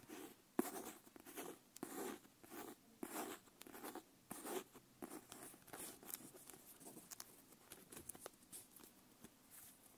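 Long nails tap and scratch the brown leather wrap cover of a paper-page notebook held upright, and they also work along its strap. Quiet, irregular bursts of soft, dry tapping and scratchy rubbing repeat throughout. The sound has a muted body around 350 Hz, bright scratchy hiss on top, and almost no ring after each touch.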